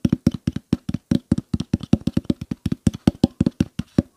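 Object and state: Plastic water bottle.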